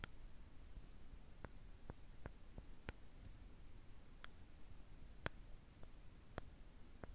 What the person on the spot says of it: Very gentle and delicate sound, I find.